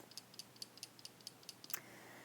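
A simple baby rattle is shaken to show children that shaking it makes a sound. It gives a quick, even series of about nine short, bright, high ticking clicks. A faint steady hiss follows the last clicks to the end.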